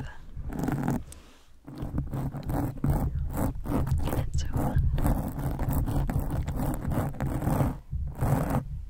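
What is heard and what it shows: Very long, dark, pointed nails on both hands scratch and rub up close against a fist-sized, soft, porous black foam windscreen covering a microphone capsule. The result is a dense, muffled, low rumbling scratch and rustle in uneven bursts, broken by a few brief quieter pauses.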